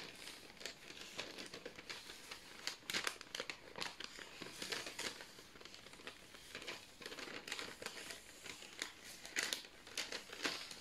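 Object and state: Baking paper sheet crinkling.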